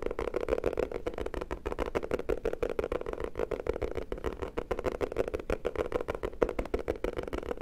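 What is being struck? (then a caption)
Hardcover notebook cover. Fingertips and short nails tap quickly on the cover of a black hardcover notebook or book with an anime picture on it, held upright in both hands; the book is solid and flat. The result is a fast, continuous stream of short, dull, woody taps with a warm midrange body and very little high-end brightness, each tap dying away almost instantly.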